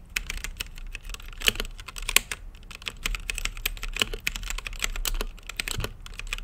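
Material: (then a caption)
Plastic. Fingertips type continuously on a plastic mechanical keyboard with plastic keycaps on a translucent acrylic case. A steady stream of sharp, bright clacks centered near 2.5 kHz rides over a low thud, each keystroke dying away almost instantly.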